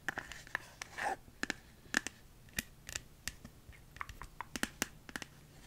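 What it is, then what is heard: Plastic phone case tapped and scratched. Long nails tap and scratch the back of a smartphone in a hard plastic flower-print case held in both hands. The result is a quick, irregular run of sharp, dry clicks with bright, clacky tone and almost no ring, and a brief scratchy rasp near the start.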